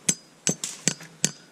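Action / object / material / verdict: strike / cast aluminum spile hammered into a maple tap hole / aluminum / not seated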